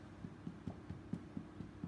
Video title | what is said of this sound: Karen Griffiths - Wholemeal Chocolate Cake - 11/05/20 | Can you hear that? Hollow sound on the bottom. That's whenever you can tell a loaf is done, it sounds hollow.